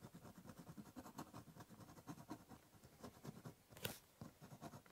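A ballpoint pen draws lines across the top surface of a large, hollow, brown corrugated cardboard box. Quick, scratchy strokes repeat with a low, hollow resonance from the box, and one sharper, brighter scrape stands out near the end.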